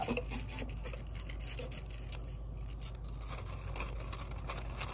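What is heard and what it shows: Brown kraft paper honeycomb packing wrap, light and hollow-celled, is stretched, squeezed and crinkled with the fingertips close to the microphone. A steady papery rustle runs throughout, with dense, soft crackles and scratchy bright edges over a low, constant rumble underneath.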